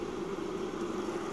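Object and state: Nothing is struck.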